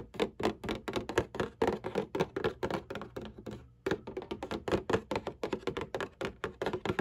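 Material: Cardboard.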